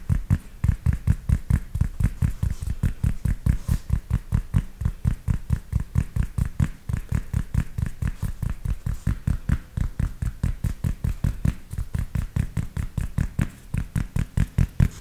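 A grey cloth baseball cap with an embroidered logo is held by its hollow crown in one hand while the fingertips of the other hand tap and scratch the fabric. The result is a fast, continuous stream of soft, muffled thumps, about two per second, with a deep, dull body and almost no brightness. Each tap dies away almost instantly.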